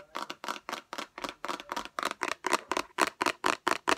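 A small transparent orange plastic bottle with liquid inside is tapped and scratched quickly with long nails and fingertips. It makes a fast run of short, crisp plastic clicks at about four per second, each one dry and dying away almost at once, with a bright, scratchy edge.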